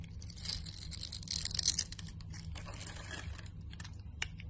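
A utility knife blade scrapes grid-cut cubes off the surface of a solid, translucent orange glycerin soap bar held in the hand. The sound is a bright, crackly scraping and crumbling, loudest in a burst in the middle, over a steady low hum. It ends with a single sharp tick near the close.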